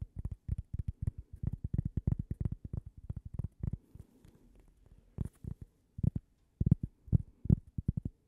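A small, thin, toast-shaped solid cork coaster is held in the hands and tapped and scratched with long painted fingernails. Rapid bursts of dull, low taps with almost no ring are broken by a brief stretch of soft scratching, before sharper, more spaced-out taps return.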